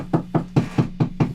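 Six knocks on a guitar isolation speaker cabinet, heard through the cabinet's microphone rather than an impulse response. Each knock is a short, low, boomy thud around 160 Hz that dies away almost at once.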